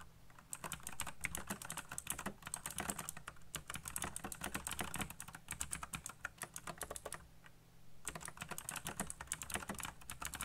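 Fingertips type very fast on a backlit mechanical keyboard with black plastic keycaps, producing a dense stream of sharp, bright clicks and clacks over a steady low hum. The rapid typing pauses briefly around the seven-second mark before resuming at full speed.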